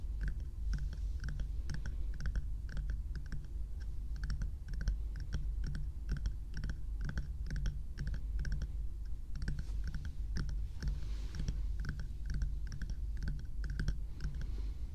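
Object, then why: Small plastic bear-shaped night lamp. A small hollow bear-shaped night lamp of frosted plastic or silicone is held in one hand and rapidly tapped with long nails. Quick, light clicking taps with short decay continue steadily over a constant low rumble.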